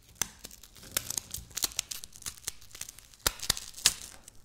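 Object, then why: Layered wafer biscuit. Long natural nails scratch and crush a piece of dry, layered wafer biscuit on a stone countertop. The result is a quick series of sharp, bright crunches and crackles over a soft, crinkly tearing rasp. Each snap is brief and dies away almost at once.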